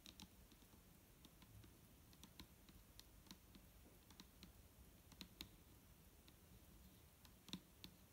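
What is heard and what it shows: Long nails tap the side of a large, clear plastic micellar water bottle, full of liquid, as it rests on a table while held in one hand. Quick, light, irregular clicks with bright, short attacks come over a low, steady background rumble. Each tap dies away almost instantly.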